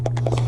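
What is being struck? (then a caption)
Plastic bottle of shimmer paint with a mixing ball. A bottle of shimmer paint is shaken before use, and the small mixing ball inside rattles in quick, clicky bursts. A steady low hum runs underneath the whole clip.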